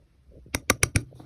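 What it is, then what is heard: Thin sheet-metal kitchen knife, poor quality. A cheap kitchen knife sold as Damascus steel, with laser-printed patterns and a plastic handle, is tapped or flicked four times on its thin sheet-metal blade. Each hit is a quick, bright, thin clack that dies almost at once with no sustained ring. The blade bends with only a slight twist, marking it as very poor quality.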